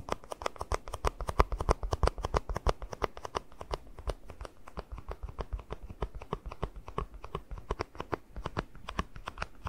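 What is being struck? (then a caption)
Small plastic cup. Fingertips tap and scratch a small, hollow, empty white plastic cup held upside down above the mic. Quick, dry, irregular taps come in a steady stream over soft scratching, each with a dull low thump and a brief bright click that dies away almost at once.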